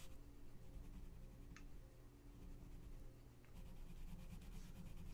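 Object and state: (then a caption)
Colored pencil shading on a paper page. A gloved hand rubs a colored pencil back and forth on the thin paper page of an open coloring book lying flat on a checked cloth, shading the center of a mandala. Quiet, soft scratchy strokes ride over a steady low hum, with a brief bright scrape in the middle and denser rubbing toward the end.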